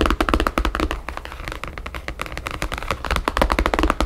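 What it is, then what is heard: Paper-covered photo album tapped with nails. Long nails rapidly tap the map-patterned paper cover of a thick ring binder or photo album lying flat on a wooden table. The result is a quick, uneven stream of dry, clicky taps, each with a soft low thump and almost no ring.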